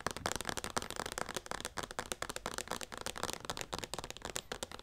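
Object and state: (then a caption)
Plastic lotion pump bottle. Long painted nails rapidly tap and scratch a hand-sized white plastic O'Keeffe's Skin Repair lotion bottle with a pump, hollow and likely partly full. The result is a dense, continuous stream of short, dry clicks and bright scratchy rustles with almost no ring.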